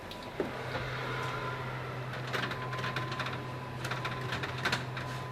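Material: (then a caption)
Bread. Gluten-free ciabatta loaves are tapped after about 25 minutes of convection baking at 425°F to check whether they are done, giving a series of dull, short taps over a steady low hum. They feel like bricks but don't sound hollow, so they are judged underbaked and go back in the oven for about five more minutes.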